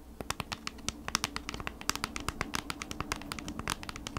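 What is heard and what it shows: Fingertips and long nails rapidly scratch and tap the back of a flat kraft-cardboard product package held upright in both hands. The result is a quick, dense run of dry, bright clicks and scratches over a low, steady background hum.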